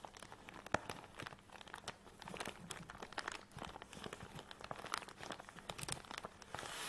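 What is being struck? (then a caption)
Nylon fabric tripod bag. Long nails tap and scratch quickly on a black nylon tripod bag that lies flat with the tripod inside. Many quick, dense crinkling and scraping sounds overlap with sharp taps, most of the energy in the mids, and a soft bright hiss builds toward the end.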